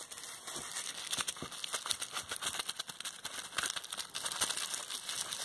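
A small bundle of clear plastic bubble wrap with hollow air bubbles is pinched and popped with the fingertips and long red nails of both hands. Bright, crisp pops and sharp crackles come in quick, irregular bursts over a steady crinkling of the plastic. The sound sits almost entirely in the high range, with very little low end.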